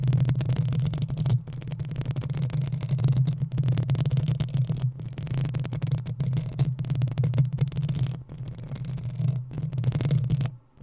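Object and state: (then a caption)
Metal mesh microphone grille. Long acrylic nails on both hands scratch and tap the hollow metal mesh grille head of a black desktop USB microphone in the Blue Yeti Nano style. The result is a dense, continuous muffled rumble with a deep hum-like tone and rapid soft thuds throughout, dipping briefly and then falling nearly silent just before the end.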